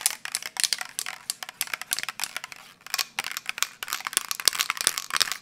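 A medium metal aerosol spray paint can holding paint and a mixing ball is held in one hand and shaken vigorously near the microphone, so the ball rattles inside. Quick, bright, clicky rattles come in dense bursts with almost no low end, easing briefly just before the three-second mark before picking up again.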